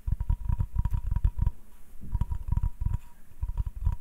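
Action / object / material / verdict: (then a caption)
scrape / hardwood cutting board / wood / none. Fingers rub and scratch the surface of a flat, solid hardwood cutting board held in the hand. Quick, dull, low scratching taps come in three clustered runs separated by brief quieter stretches, with a faint steady tone near 1 kHz riding along under the bursts. Each touch dies away almost instantly, with no ring.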